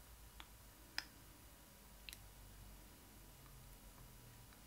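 Fingertips and long acrylic nails tap the face and eye area of the hollow vinyl head of a child-sized Disney Ily 4ever Stitch doll dressed in a blue fabric costume. Three short, bright clicks stand out, the sharpest near the one-second mark, each dying away almost instantly over a quiet, low background hum.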